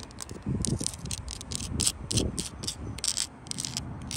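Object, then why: Sandstone blocks in a mortared wall. Long light-blue acrylic nails scratch and tap on large, solid, rough reddish-brown sandstone blocks set in mortar in an outdoor wall. Dry rattling scrapes and quick crackly taps come in uneven bursts, bright and gritty on top with a soft low rumble beneath.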